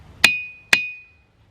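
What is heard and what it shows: Two sharp strikes on a diabase boulder in a Southeast Pennsylvania boulder field, one at 0.25 s and one at 0.73 s. Each strike sets off a bright, metallic ring that holds a clear tone near 2.5 kHz and fades out over about half a second. This is the normal ringing of the rock.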